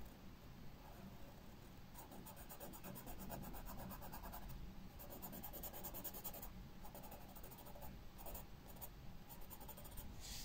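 A graphite pencil held in the fingers sketches flower outlines on a white paper sketchbook page lying flat on a wooden table. Soft, steady scratching comes in short bursts of bright, gritty strokes over a low background rumble.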